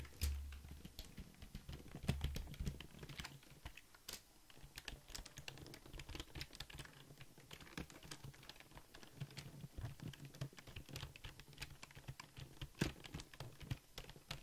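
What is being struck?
Plastic computer keyboard.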